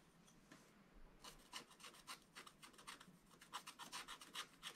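A wooden stylus scratches a Christmas tree design into a black-coated scratch-art book page lying flat, using quick strokes. After about a second of near silence, a fast, uneven series of short, dry, bright rasping scratches follows, each stopping almost instantly.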